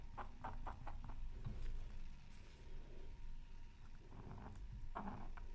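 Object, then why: Black-coated scratch art paper scratched with a wooden stylus. A thin wooden stylus held in the fingertips scratches lines through the black coating of a flat square of scratch art paper lying on a silicone mat. Short, quick, papery scratch strokes come in irregular bursts over a steady low rumble, with a pause in the middle before a few more strokes near the end.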